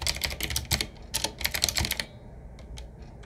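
Fingertips of both hands type on a 7Keys retro typewriter-style mechanical keyboard with round black keycaps set in metal rings on a medium-size, hollow, wood-finish frame. A quick run of bright, sharp clacks fills the first two seconds, each dying away almost at once. A few fainter, sparser taps follow.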